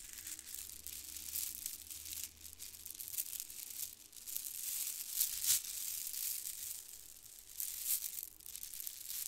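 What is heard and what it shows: A mass of white plastic faux-pearl bead strands from a bead garland is squeezed and shaken like a rattle between both hands. It makes a continuous, bright, crinkling rattle of dense tiny clicks, with a few louder surges. The sound is almost entirely high-pitched, with very little low end.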